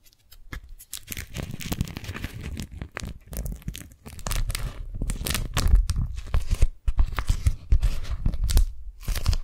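Long nails and fingertips unfold a thin white smiley-face-print beeswax-coated cotton food wrap and peel its sticky folds apart. A dense, irregular run of tacky crackling, crinkling and tearing-like peels is heard, with bright crisp edges over a low, soft rumble and brief quiet gaps between bursts.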